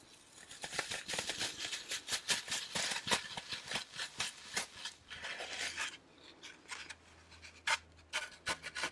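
A solid green floral foam brick with small dents, held close to the mic, is rubbed and scratched with fingertips and nails. Bright, crisp, dry scratching strokes come in a dense, quick run for about six seconds, then thin out into sparser, sharper scrapes over a faint low hum.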